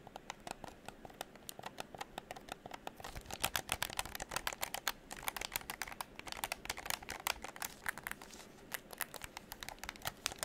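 A hollow pink plastic game controller is held close to the microphone while fingertips tap its shell and click its triggers and buttons. Quick, dry, bright plastic clicks and taps come in dense irregular bursts over a faint background hiss, each one dying away almost instantly.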